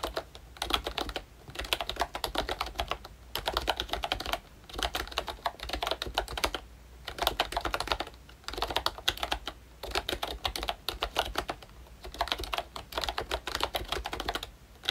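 Fingertips type on a full-size ROYCHE Disney Mickey Mouse retro membrane keyboard with round plastic keycaps and a hollow plastic case. Quick bursts of light, dry, clacky keystrokes come in rapid runs separated by brief pauses, with bright, short-lived taps.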